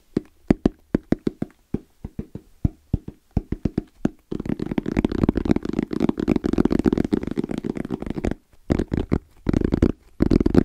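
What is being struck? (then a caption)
Fabric-covered EVA foam hard-shell case. Fingertips tap and fingernails scratch on the lid of a small, closed, hollow black zippered EVA hard-shell case with a fabric-covered shell and orange trim. A run of quick, dry, hollow taps with a low-mid body gives way to about four seconds of dense, continuous scratching. A short burst of taps follows, and scratching returns at the end.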